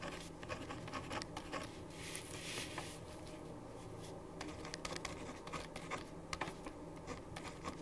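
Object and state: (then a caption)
Pen writing on paper. A black-capped ballpoint pen, held in the right hand, writes across a thin printed paper sheet lying flat on a wooden desk. It gives continuous, scratchy pen-on-paper strokes with short bright ticks over a steady low hum.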